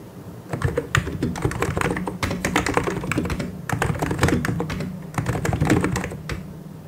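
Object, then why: Plastic mechanical keyboard. Fingertips of both hands type and tap on a full-size white and grey mechanical keyboard with plastic keycaps. Rapid, short keystrokes with a deep, low-heavy clack come in three bursts separated by brief lulls.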